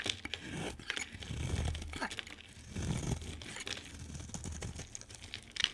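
A utility knife blade scrapes and cuts into a hand-sized, solid white bar of soap with a lime-green coat. It makes a dry, crumbly tearing and crinkling sound in uneven swells, with a soft low rumble beneath and bright, sharp ticks as the blade catches.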